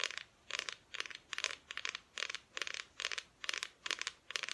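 Long nails tap and scratch on the painted front of a flat, thin, solid plywood Christmas decoration cut-out. Short bursts of quick, dry, bright clicking and scraping repeat at a steady rhythm, with no low end and almost no ring between bursts.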